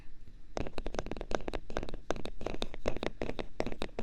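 Small pieces of hard thermoplastic are tapped in quick, irregular succession, giving a long run of short, dry clicks with little ring. Each tap is a brief, hollow, mid-pitched tick over a low background rumble.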